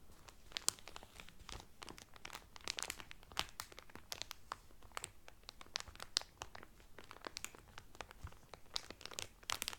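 Fingertips with medium-length painted nails press and crinkle the loose, thin, clear cellophane sealing a folded blue terry Carnival towel lying flat on a table. The sound is a dense, steady stream of crisp, bright crackles and sharp snaps that stop dead with no ring, over a quiet low background.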